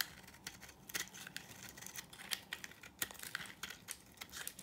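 A utility knife blade scrapes a solid, dry yellow oval bar of soap, sending flaky shavings falling. Quick, crisp scrapes and clicks sound bright and high, each snapping off sharply with almost no ring, over a faint low hum.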